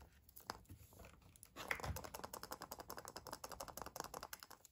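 A small, hollow Kinder Surprise chocolate egg in a printed foil wrapper, whole and unopened, is held in one hand and tapped and scratched with fingertips and nails. A few soft, scattered crinkles give way, after about one and a half seconds, to a steady run of quick, dry taps and bright, crackly foil scratching. Each tap dies away almost at once.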